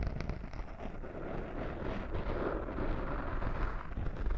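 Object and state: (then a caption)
Foam microphone windscreen being scratched. A small black foam windscreen over a microphone is scratched by fingertips with short nails, giving a close, rough, muffled rustle that is dominated by low rumble. The scratching continues steadily without clear separate strokes and grows slightly louder toward the end.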